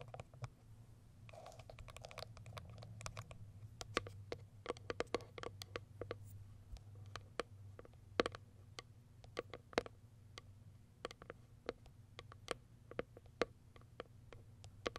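Long white acrylic nails tap rapidly on the top of a small white printed Kiara Sky cardboard product box. The result is a quick, uneven run of short, dry, bright clicks with a hollow knock near 480 Hz. A soft scratchy texture and a steady low hum sit underneath.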